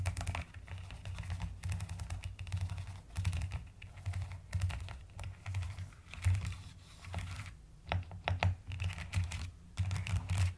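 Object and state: Plastic mechanical keyboard.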